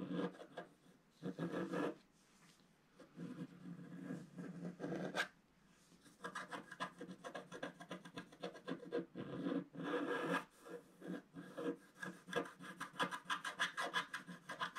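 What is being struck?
Coated scratch-art paper page scratched with a wooden stylus.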